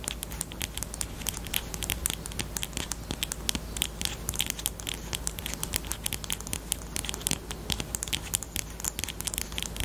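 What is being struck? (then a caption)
Plastic highlighter. A small, hollow pink plastic highlighter with a black cap is held in both hands and tapped rapidly with long pointed nails on its barrel and cap. The result is a dense stream of sharp, dry clicks with bright, crisp tops and almost no ring, over a steady low hum.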